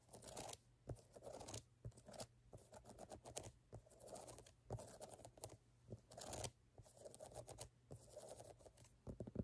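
Long fingernails scratch and tap the brown ridged rubber lug outsole of a Converse canvas platform sneaker held in the hand. Bursts of dry, raspy scratching alternate with sharp, dead taps that stop almost at once.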